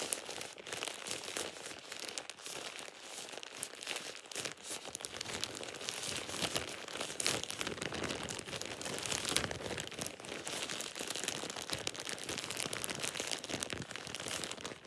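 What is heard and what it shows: A thin plastic shower cap with an elastic gathered edge is crumpled and scrunched in a hand. The result is a steady, dense stream of bright, crisp crinkling and rustling with almost no low end. It stays at an even level throughout.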